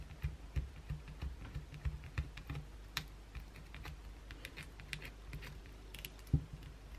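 Long blue acrylic nails scratch the surface of a solid white bar of soap held in the hands, scraping flakes onto the towel below. Irregular, quick clicks and scratchy ticks with bright edges come over a soft low thud, each dying away almost at once. A few harder scrapes stand out near the start and toward the end.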